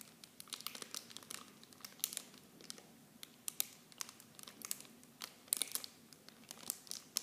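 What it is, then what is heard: Plastic bag of mini shampoo bottles being crinkled. A small clear plastic film bag holding blue plastic mini shampoo bottles is held in both hands and squeezed and crinkled by fingertips and long painted nails. It gives a quiet, continuous stream of bright, sharp crinkles and crackles with short snappy peaks and almost no low end.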